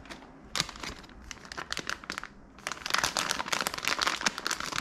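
A small, full, sealed Pillsbury mini chocolate chip cookie bag made of crinkly plastic film is held in both hands, squeezed and turned over with the fingers. It makes sharp, bright crinkling bursts that start sparse and soft, then grow louder and denser into near-continuous crackling in the second half.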